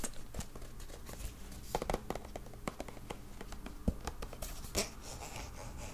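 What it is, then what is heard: Plastic hand cream tube. A white plastic squeeze tube of olive hand cream with a black cap, about hand length and likely full, is held in both hands and tapped and scratched along its body with fingertips and nails. Quiet, dry taps and soft scratching rustle continuously, with dull low thuds and a few sharper, brighter clicks that die away almost instantly.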